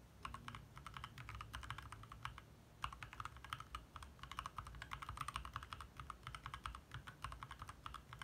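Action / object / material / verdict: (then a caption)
tap / plastic mechanical keyboard / plastic / none. Fingertips from both hands type fast taps on a compact 60% backlit mechanical keyboard with lit plastic keycaps. Dense, short clicky keystrokes centred around 1 kHz, with bright upper edges, come in bursts with brief pauses over a steady low rumble.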